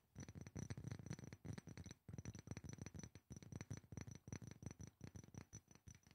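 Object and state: Glass perfume bottle.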